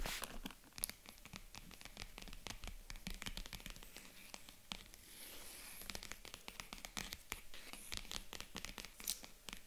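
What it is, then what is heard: Faux leather jewelry case. A small white faux leather jewelry box with a gold zipper, hollow and resting on a table, is tapped and scratched with long acrylic nails. The clip is a dense run of quick, sharp clicks and scratchy rustling, with bright high-frequency texture. There is no ring after each hit.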